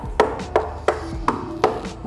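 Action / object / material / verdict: knock / gypsum board panel on steel framing / gypsum board / hollow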